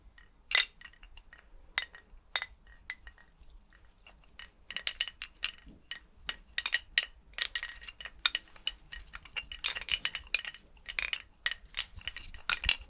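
A skeleton's bones are clinked together in a steady run of short, bright, dry clinks that cluster densely in quick bursts. Each tap dies away almost at once, with a bright tone around 2.8 kHz and almost no low end.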